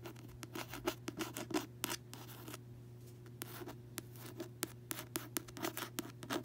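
Fingertips and long nails tap and scratch the front of a closed paperback novel, *Shutter Island*, which has a glossy card cover and lies on a bedsheet. The result is a quick, uneven series of crisp, bright clicks and short papery scrapes that die away fast, over a steady low hum.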